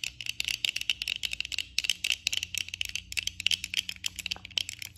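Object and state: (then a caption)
Plastic eyeglasses tapped with nails. Long nails tap the frame and lenses of worn black plastic eyeglasses with both hands throughout, giving a rapid, uneven stream of crisp, dry clicks. The taps are bright and light, centered near 2.9 kHz with almost no low end, and each one stops almost instantly.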